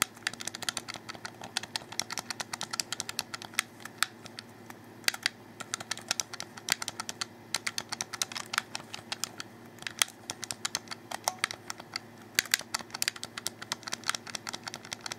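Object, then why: Plastic game controller. A black plastic Xbox 360 controller, a hollow handheld shell held in both hands, has its face buttons and thumbsticks rapidly pressed and clicked by fingertips and thumbs. A dense, irregular stream of dry, bright plastic clicks and taps that stop instantly, with no ring, plays over a faint, steady low hum.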